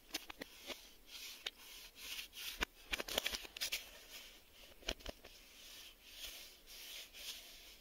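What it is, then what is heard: Cardboard VHS tape box. A printed cardboard Maxell VHS tape box is held in the hands and tapped and scratched on its back and spine with fingertips and nails. Soft, bright rustling scratches swell and fade, broken up by a series of sharp, dry taps that stop instantly, with almost no low end.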